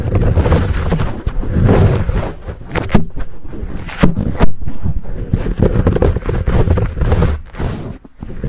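Fingertips scratch and rub the sides of a fuzzy black foam windscreen on a Blue Yeti microphone. The result is a close, muffled, bass-heavy rumble of continuous scraping and rustling, broken by a few sharper, louder bursts.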